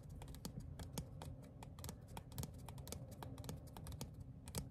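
Fingertips and short nails tap rapidly on the surface of a small, thin printed paper or cardstock ticket card. A quick, uneven stream of light, dry clicks with bright, crisp ticks sits over a steady low background murmur, each tap dying away almost instantly.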